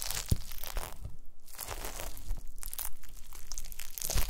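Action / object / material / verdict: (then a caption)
knock / gelatin jelly cubes / gelatin / none. A pile of small pink translucent solid gelatin jelly cubes on a white mesh mat is pressed and crushed with the round end of a wooden masher. Dense, crunchy crushing and squelching crackles come in rapid bursts over deep, soft thuds, with brief quieter gaps between presses.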